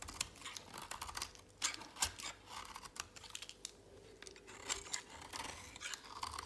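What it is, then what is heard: Dry soap bar. A utility knife blade shaves flakes off the edge of an oval, solid, dry pink soap bar held in a hand with long pink nails. Quick, crisp, bright scraping and crackling strokes follow one another, with dry ticking edges and little low end.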